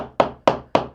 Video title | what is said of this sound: How to find a stud without a stud finder | That sounds echoey, sounds hollow